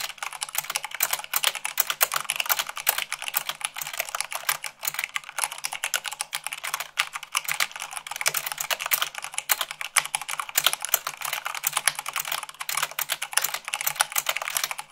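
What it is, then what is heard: Mechanical keyboard typing. Fingertips with long nails type fast, at about 98 words per minute, on a mechanical keyboard with white plastic keycaps on a black base. A dense, steady stream of bright, crisp clacks with almost no low end, each keystroke dying away almost instantly, continues unbroken for the whole fifteen seconds.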